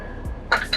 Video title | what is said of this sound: How to Fix Frozen Trailer Brakes - Free Frozen Brakes on a Tractor Trailer | that's a good indication that our lining is still froze to our brake drum